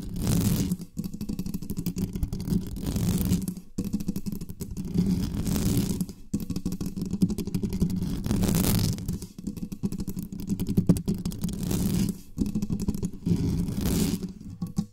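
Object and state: Metal mesh microphone grille being scratched.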